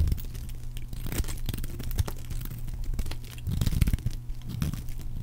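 A solid rectangular bar of dry magenta soap is held in one hand and carved with a metal blade, peeling off curls and flakes that pile up beside it. A steady run of soft, crisp scraping and crunching strokes is heard, with a low, dull body and brief bright edges on each cut.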